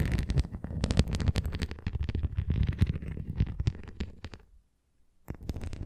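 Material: Plastic.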